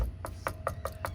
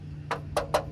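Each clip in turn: First: real metal wheel rim. Second: plastic car hubcap.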